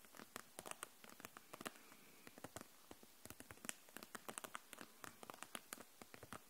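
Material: Plastic.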